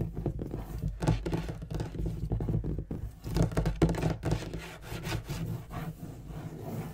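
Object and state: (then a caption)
Leather-topped wooden desk. Fingernails scratch and rub across the leather inlay of a large, dark wooden writing desk, edged by a gold-tooled border, while fingertips tap the solid top, with the hands moving across it and near the far edge. The result is a dense, uneven run of quick, dull, low thunks mixed with soft scraping, each tap dying away almost at once.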